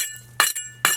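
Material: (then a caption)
Cement. A trowel taps three times on cement parging over a concrete block foundation, giving bright, sharp clinks with a short high ring. The solid tone marks this area of parging as well bonded rather than hollow.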